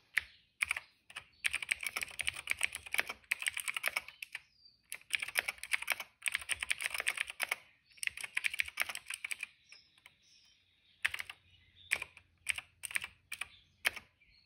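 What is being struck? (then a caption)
Plastic mechanical keyboard. Fingertips type on a cream plastic retro mechanical keyboard with plastic keycaps and a hollow case. Bright, clacky keystrokes come in quick bursts separated by short pauses, with isolated single presses toward the end. Each click is dry and dies away almost instantly.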